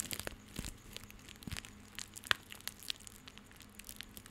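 A small coiled and tied bundle of plastic rope is held close to a microphone while fingers and nails scratch and squeeze it. The result is a quiet, bright, crinkly crackling made of many short, dry ticks and rustles, with a few sharper snaps standing out near the middle.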